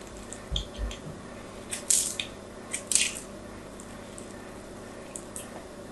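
A blade scratches and chips small flakes off the surface of a solid pink-and-white striped bar of soap held in hand. It makes short, crisp, high-pitched scraping clicks spread unevenly over a quiet background, with two soft low thumps near the start.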